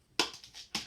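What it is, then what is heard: Water bottle tapped. A water bottle is tapped like a household instrument, giving four short, bright, clicky taps. The first and last are the loudest, with quick decays and little low end.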